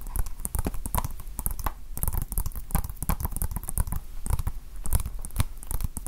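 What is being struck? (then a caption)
Small plastic game case. Fingertips and nails tap a small hollow plastic Nintendo Switch game case with a paper cover insert, held in the hands. The result is a rapid, uneven run of short, dry taps and clicks with low thumps and bright clicky edges that stop quickly with no ring.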